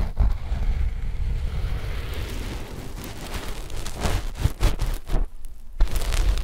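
Long fingernails of both index fingers scratch a flat sheet of black knit fabric stretched over a left-and-right binaural microphone pair. The result is a dense, low, rumbling scratch with muffled thumps, broken by sharper bursts of scraping toward the end.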